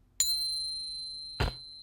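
A coin balanced on a fingertip is tapped with another coin in a ping test, giving a bright, bell-like ring with a high, steady tone that sustains for almost a second. About a second later a second, noisier knock is heard while the ring carries on, fading slowly.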